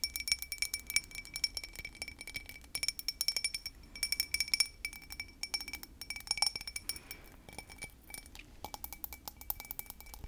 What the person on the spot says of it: Clicky And Crisp Sounds For Sleep And Tingles